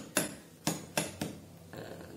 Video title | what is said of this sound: BUKA DURIAN LOKAL WONOSOBO#durian#durianlovers #durianenak | Durian tuh kalau ditepuk gini bunyinya empuk, itu berarti udah matang.